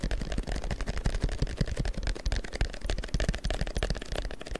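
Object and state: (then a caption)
Printed paper strip. A long, thin sheet of printed paper is held taut close to the microphone and tapped and rubbed with the fingertips. A dense run of quick, dry taps and papery rustles follows, with soft low thumps under brief, bright crackles that die away almost instantly.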